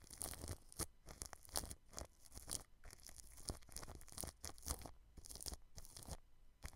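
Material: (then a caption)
Plastic film. A paintbrush sweeps over clear plastic cling film wrapped around a white microphone, brushing along the grille. Close, crinkling rustles and scratchy crackles come in quick, uneven bursts with bright hiss on top and a soft low rumble underneath.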